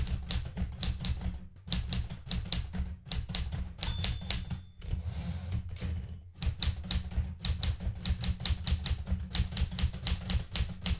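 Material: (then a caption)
Metal. A blue Smith-Corona metal portable manual typewriter with plastic keys and paper in the carriage is typed on rapidly by fingertips with red painted nails. Bursts of sharp mechanical key clacks with a deep low thump are separated by brief pauses, including one stretch of softer, steadier noise.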